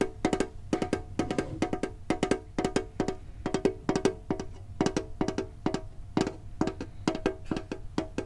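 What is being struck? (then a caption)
Printed metal tin box. A green printed hollow metal Pokemon card tin is held and tapped on its lid and sides with fingertips and short nails. The result is quick, short, hollow metallic ticks with a pitched ring near 380 Hz. They come in fast, uneven clusters over a faint low hum.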